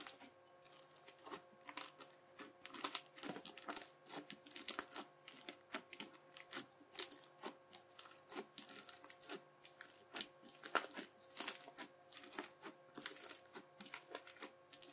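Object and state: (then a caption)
Crunchy bead slime. The edge of a yellow plastic knife presses and cuts along a sheet of teal crunchy bead slime packed with many clear beads. The result is a dense, quiet run of sharp, bright crackles and clicks that die away almost instantly, over a faint steady hum.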